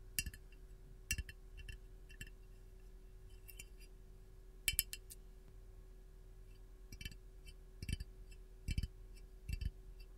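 A hollow, glazed white ceramic canister with a lemon print is held and tapped on its side with long gold nails. Quiet, sharp, bright clinks and clicks come in irregular clusters, each dying away almost instantly, over a steady low hum.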